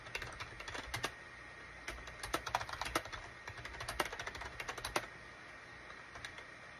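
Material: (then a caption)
Plastic. Fingertips type on a full-size gray and cream SHIPADOO K600 wired USB keyboard with a hollow plastic case, resting on a desk mat. Quick, dry plastic key clicks come in irregular bursts separated by short pauses. A faint steady hiss and a thin high tone run underneath.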